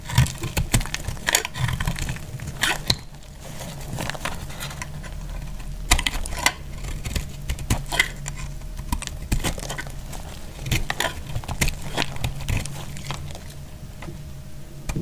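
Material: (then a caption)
Soap. A utility knife blade cuts and shaves crumbly flakes off a dry pale pink soap bar held in the hand. Repeated short, dry crunching and scraping strokes with bright crackly edges sit over a steady low hum, each cut ending almost instantly.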